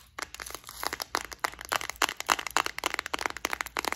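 A small clear plastic flower-shaped case with several compartments, full of gold metallic beads and studs, is held in the hands, tapped and scratched with long acrylic nails and shaken so the beads rattle. The result is a rapid, irregular stream of sharp, dry clicks and crackly rattles, bright and crisp with almost no low end and no ring after each hit.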